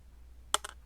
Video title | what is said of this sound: Vendetta Prospecting pay dirt review! I buy the 1 gram guaranteed bag of "unknown" gold pay dirt | when you shake it it just it's very heavy so it just makes a more distinctive sound